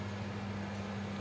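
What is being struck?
Nothing is struck.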